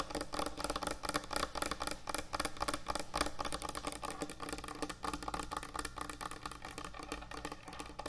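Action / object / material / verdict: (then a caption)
tap / wooden end-grain cutting board / wood / none. Long nails tap fast on a large, thick, solid wooden end-grain butcher block cutting board. The result is a dense, uneven stream of quick, dry clicks with almost no ring, heard over a steady low hum.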